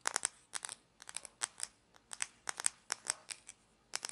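A small hollow plastic toy condiment shaker with an orange cap and a paper label is held in both hands and scratched and tapped with long fingernails, its cap clicking. Quick, dry, bright taps and scratchy clicks come in short clusters with brief quiet gaps between them, each one stopping almost instantly.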